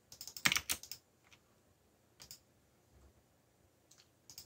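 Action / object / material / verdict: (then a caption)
tap / plastic mechanical computer keyboard / plastic / none. Fingertips type on a backlit mechanical computer keyboard with black plastic keycaps. A quick flurry of sharp, bright plastic clicks comes first, then scattered single and paired taps follow with quiet gaps between them.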